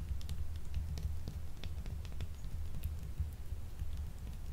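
A small, solid purple marbled glycerin soap bar is held in both hands and scratched with long acrylic nails that shave off flakes. The result is a steady, low, rumbling scrape with faint, brief high ticks scattered throughout.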